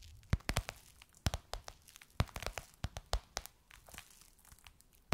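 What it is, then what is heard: Faux leather pillowcase. Long nails tap and scratch the surface of a gold crocodile-embossed faux leather pillowcase on a soft cushion. Quick, irregular taps land as sharp, dry clicks that die away at once. Soft crinkly scratching fills the gaps between them.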